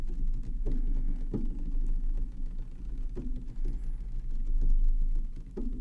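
Fingernails and fingertips tap the side edge near the top vents of a tall black plastic Xbox Series X standing on a wooden table. The taps come fast and unevenly as soft, low, hollow knocks from the hollow housing, each fading within about half a second over a steady low rumble.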